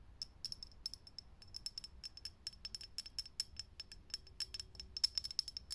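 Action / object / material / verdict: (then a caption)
tap / glass filament light bulb / glass / none. Long nails tap fast on a lit, hollow, clear glass vintage filament light bulb. It makes a quick, uneven run of sharp, bright clicks, each carrying a thin, high glassy ping that stops almost instantly. The tapping stays quiet, with very little low end under it.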